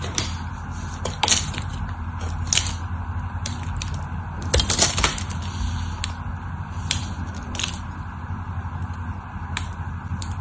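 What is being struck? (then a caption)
Bar of soap scraped with a metal blade. A hand-sized, solid cream-colored dry bar soap, held in one hand with long orange nails, is scraped and carved with a metal utility knife blade, sending flakes falling. Irregular, crisp, bright scratching and crackling bursts sound over a steady low hum, with the louder scrapes clustered near the middle.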